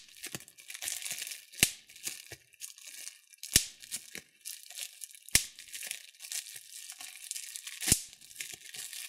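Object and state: Plastic bubble wrap being popped.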